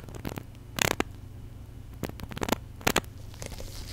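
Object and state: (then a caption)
Plastic squeeze bottle partly filled with liquid. A small white plastic contact lens solution bottle with its flip cap open, partly filled with liquid, is squeezed and shaken in gloved hands next to the mic. Sharp bursts of bright, fizzy crackling and sloshing stand out over a low, steady rumble.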